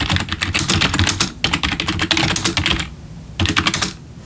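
Both hands' bare fingertips type on a full-size black plastic membrane gaming keyboard with RGB backlit keys, resting on a wooden desk. Rapid, bright, clicky key taps come in bursts with a soft low thump under each press, broken by a brief gap and then a longer pause before a final short flurry. Each tap dies away almost at once.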